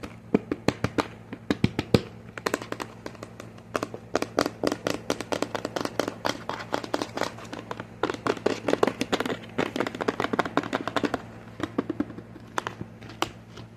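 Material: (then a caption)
Plastic. A medium cream-colored plastic lotion bottle with a green and pink label, hollow and apparently filled with lotion, is held in the hands and tapped with short fingernails and fingertips. Quick, dry clicks and taps come in fast irregular bursts, with brief bright transients that die away almost instantly. A steady low hum runs underneath the whole time.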